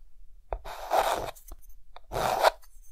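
A hand draws an octopus with a white chalk stick on a dark green chalkboard, making scratching and rubbing strokes. A quick tap is followed by a longer gritty scrape, another brief tick, and then a second scraping stroke, each with a mid-range rasp and a bright hiss.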